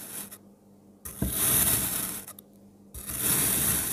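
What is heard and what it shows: A palm-sized solid blue kinetic sand block is cut into thin slices with a speckled pink ceramic-look knife. Two long slicing strokes give a soft, granular crunch with a bright, hissy grain, separated by near-silent pauses.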